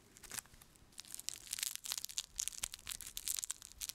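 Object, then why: Whole raw onion with dry outer skin. Fingertips scratch and peel at the dry, papery skin near the stem end of a whole raw, pale yellow onion, fist-sized and solid, held up in the other hand. The result is a quiet, rapid series of sharp, bright crackles, crushing and tearing sounds with almost no low end, each dying away almost instantly.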